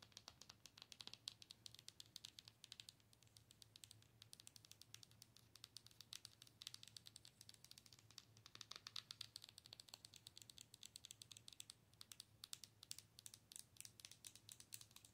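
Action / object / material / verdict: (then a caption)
tap / plastic owl night light / plastic / none. Long nails tap and scratch the head and body of a hollow, glowing plastic owl night light tilted toward the camera. The result is a quiet, steady stream of quick, dry, bright clicks and scratchy rustles with almost no ring, over a faint low hum.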